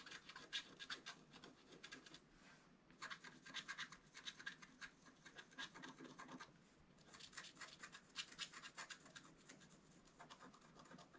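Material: Coated paper.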